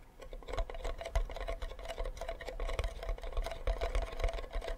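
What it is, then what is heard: Wooden ukulele back. Fingertips tap and scratch the back of a hollow wooden ukulele with a flower sticker, and the body ends tilted sideways. Quick, irregular taps and scratches blend into a steady patter, with deep hollow thumps and a faint mid-pitched ring that fades almost at once.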